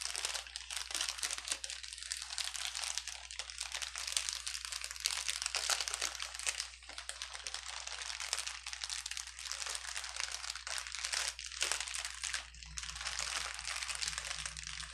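Fingertips press and squeeze the bubbles of a clear plastic bubble wrap sheet resting on a table, producing continuous bright crinkling with small sharp pops. The dense, crackly texture runs steadily throughout, over a faint, steady low hum.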